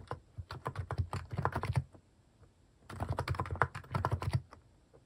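Fingertips type continuously on a plastic Hanmumu mechanical keyboard fitted with cat keycaps. Short, dry, low-weighted keystrokes arrive in two quick bursts separated by a brief pause, each press ending almost instantly.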